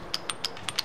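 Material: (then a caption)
Concrete. A bridge inspector taps the concrete of the Neckar bridge on the B 27 with a hammer, giving five short, bright, clear ringing ticks that die away almost instantly. The clear sound marks an intact spot, unlike the dull sound of problem areas at joints or leaks near the drip spout, and the superstructure was found in very good condition.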